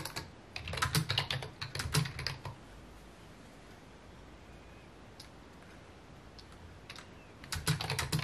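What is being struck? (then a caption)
Plastic computer keyboard. Fingertips type on a full-size white and mint plastic computer keyboard with hollow key housings, resting on a wooden desk. Quick, irregular bursts of clacky keystrokes combine a low hollow thump with bright clicks, pause for a quiet stretch broken by a few isolated taps, then pick up again at the end.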